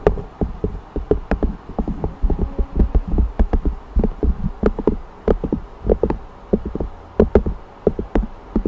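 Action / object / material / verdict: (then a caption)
tap / thin cork board strip / cork / none. Fingertips and long nails on a ringed hand tap rapidly on a thin, flat, solid cork strip held horizontally just above a condenser microphone. The taps are soft, dull, and short, with little ring. They come in quick irregular clusters carrying low thuddy weight and a few brighter clicks.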